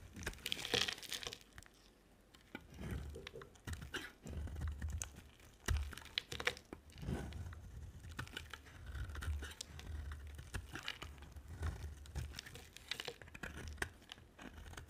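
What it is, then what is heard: Bar of dry soap being carved. A solid white bar of dry soap with a black layer is carved with a utility-knife blade while held by a hand with long black nails. The blade makes dry, crinkly scraping and crunching sounds in quiet, irregular bursts, with brief pauses between strokes.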